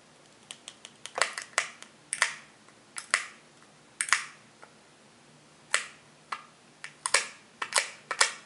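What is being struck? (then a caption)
Plastic spool wound with wire. A small blue plastic spool wound with red-and-white thread or wire is held in one hand while its flange is tapped with a fingertip and nail. About twenty-two sharp, bright clicks and taps come at an irregular pace, each dying away almost at once over a faint low hum.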